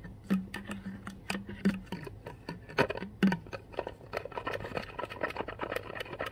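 Long white-tipped nails and fingertips tap and scratch the blue plastic cap of a full, clear plastic Core water bottle standing on carpet. Quick, dry clicks and light scratching patter along over a steady low hum, with a few sharper, louder taps near the start and middle.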